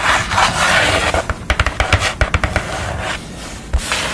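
Long nails scratch and tap across a pastel portrait drawn on a thin, flat sheet of brown paper or card board. A dry, bright scraping rasp opens and closes the clip, broken in the middle by about ten sharp, crisp taps that stop short with no ring.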